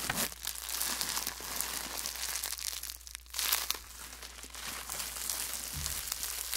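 A clear plastic bubble wrap sheet held close to the mic is scratched and rubbed with fingertips, then crumpled. It makes dense, bright crinkling and rustling that rises and falls in waves, with quick crackles over a faint steady low hum.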